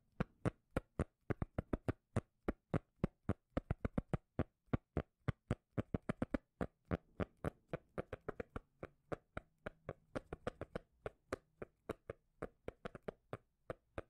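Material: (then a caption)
Cork. Fingers tap rapidly on a cork lid, producing a quick, uneven run of short, dry, low-pitched taps that die away almost instantly. Faint scratching sounds mix in alongside a low steady hum.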